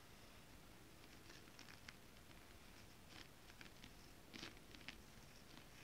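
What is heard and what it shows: Long nails and fingertips tap and scratch flat holographic mermaid scale fabric, a foil scale-pattern material. Soft, dry crackling scratches run under scattered sharp, bright ticks, against a quiet low hiss, with a slightly louder tap at the end.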